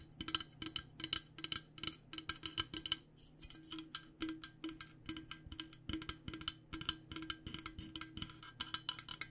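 Fingernails tap rapidly on the body of a purple-coated insulated stainless steel water bottle held upright. Dozens of short, bright, clicky taps come in quick, uneven bursts with a slight metallic ring, over a faint low steady hum.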